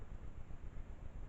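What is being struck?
Nothing is struck.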